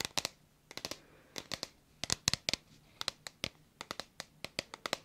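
Long nails tap and scratch along the body of a hollow, hand-sized red plastic bottle with a white cap. About 25 sharp, dry clicks come in quick irregular bursts, each bright and high with almost no low end. They die away instantly under a faint scratchy hiss.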